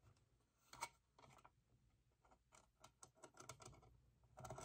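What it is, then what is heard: Hollow vinyl figure, tapped and scratched. Fingernails rapidly tap and scratch the sides and rods of a small, hollow vinyl hourglass figure held in one hand. The result is quiet, dry clicks and scratchy bursts with very little ring, centered in the midrange with some bright edges. It grows slightly louder toward the end.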